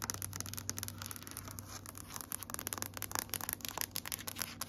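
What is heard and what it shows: Long nails tap and scratch a large, solid grey wood-grain floor. Quick, dry, bright clicks and scrapes come in a dense, uneven stream over a steady low hum, each tap dying away almost at once.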